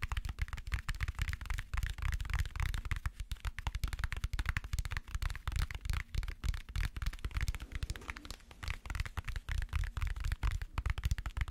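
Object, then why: Book. Rapid fingertip tapping on a book, a steady stream of soft, dull, low thuds with no ring.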